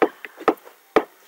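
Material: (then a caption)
Wood. Fingers gently tap a solid table surface about 30 cm from an ear pressed to the table, showing that sound vibrations travel through solids because a table is a solid. Five short, dry knocks are heard, three louder and two softer, each dying away almost at once with a woody midrange tone around 420 Hz and no deep bass. The soft taps carry clearly through the table.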